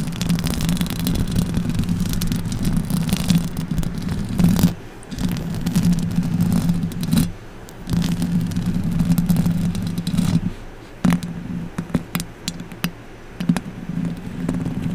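Long orange acrylic nails scratch and tap the hollow metal mesh grille of a silver condenser microphone. The result is a heavy, rumbling low-frequency scrape, mostly below 200 Hz, with a hum near 164 Hz. Sharp bright clicks cut through it, and the scraping drops out in brief pauses.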